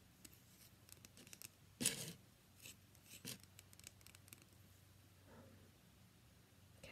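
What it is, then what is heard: Bar of soap tapped and scratched. A solid cream-white rectangular bar of soap, held in one hand, is tapped and scratched with the long pink-painted nails of the other hand. Soft, bright, crisp scratching and light ticking taps play at a low level, with a louder scraping burst near two seconds and a few fainter strokes after it.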